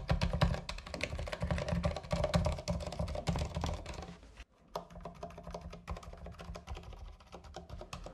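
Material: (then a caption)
Plastic. Fingertips type quickly on a compact 60% mechanical keyboard with white and green plastic keycaps on a white case, resting on a fabric surface. The keys give a rapid, uneven stream of deep, muted clacks with short ring. Typing stops briefly just before halfway, then resumes slightly softer.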